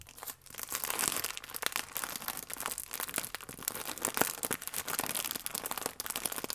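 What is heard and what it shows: Fingertips and nails pinch and rub the crimped, sealed end of a full plastic-film croissant pack. They make a continuous stream of bright, dry crinkles and sharp crackles with almost no low end. The sound stays busy and fairly even, with brief louder snaps, for the whole clip.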